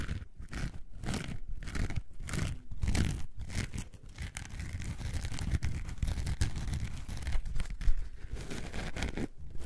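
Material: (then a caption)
Foam. A coarse orange foam sponge is scratched with long nails while held in the hand. Dense, rough scratching and crunching sounds come in rhythmic strokes with short pauses. The sound is mostly low and muffled.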